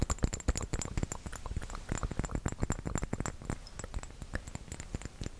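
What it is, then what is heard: Small round glass bottle filled with liquid, tapped. Fingertips and nails tap rapidly on a small round glass bottle filled with red liquid. The result is a dense, irregular patter of short, soft knocks with a low, dull body and faint bright clicks from the nails, each dying out almost instantly.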